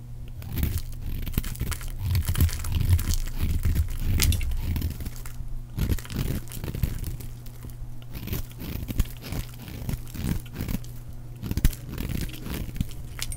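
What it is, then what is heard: Dry bar soap being shaved. A round, solid, dry pink bar of soap is held in one hand and shaved with a utility knife blade, curls flaking off. Dense, irregular scraping and crinkly crunching come from the blade biting into the soap. The sound sits mostly low with a steady low hum underneath.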